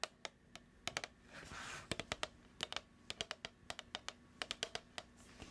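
A hollow, medium plastic food tub with a printed label and a lid is held in hands and tapped with long acrylic nails, making about 25 sharp, bright clicks that stop almost instantly. The taps come in uneven clusters over a quiet low hum, with a soft breathy swell of noise near the start.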